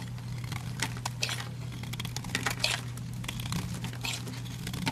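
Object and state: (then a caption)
Bar of soap being carved. A solid olive-green bar of soap held in the hand has chunks carved and crumbled off with a utility knife blade. Quick, dry, bright crackling and crumbly scraping bursts come one after another over a steady low hum.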